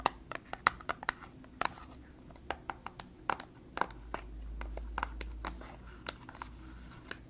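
Long fingernails tap and scratch a small, hollow, dark glossy paperboard Tarte cosmetics box held in one hand. Around two dozen crisp, bright clicks sound with almost no ring, separated by soft scratching over a quiet low background hum.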